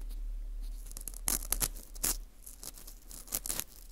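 Metal tweezers pick and scrape inside the hole of a dry, porous dried wheat gluten ring (fu) held in a gloved hand. Short, crisp, bright crackles and scratches come in bursts over a steady low hum, each dying away almost at once.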